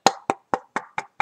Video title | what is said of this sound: Workshop Wednesdays - Mando Prop Build Part 1.1! | You can knock on it. Don't know if you can hear that. But it sounds like a piece of wood.